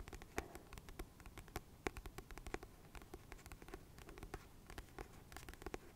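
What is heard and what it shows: Fingernails scratch and tap quickly across the glossy paper cover of a solid, medium paperback book held in the hands. The result is a steady run of soft, dry clicks and scrapes over a low rustle, with the sharpest taps cracking out bright and brief.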